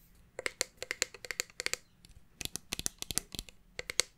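Long painted nails tap and scratch along a red plastic Bath & Body Works fine fragrance mist bottle, about 20 cm tall, with a clear cap and gold band, hollow and partly full of liquid, held in one hand. The result is about twenty quick, bright, dry clicks in uneven bursts that stop dead with no ring, with a faint scratchy hiss between them.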